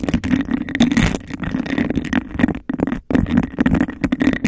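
Long acrylic nails tap and scratch fast and aggressively on the outer surface of an empty, hollow, clear glass cup with a bubbled texture that is placed over the mic. The result is a dense, rapid stream of clicky taps and rough scratches with a muffled, hollow resonance around 250 Hz and very short ring. Brief near-silent gaps fall around 2.6 and 3 seconds.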